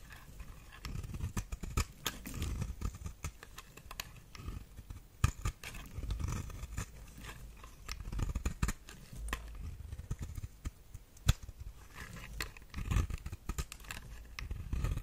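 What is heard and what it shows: A knife blade scrapes and carves the surface of a solid red star-shaped soap held over a pile of shavings. A steady run of soft, crisp scraping and cutting strokes comes through, with sharp clicks and a low, muffled rumble beneath. The overall sound stays quiet.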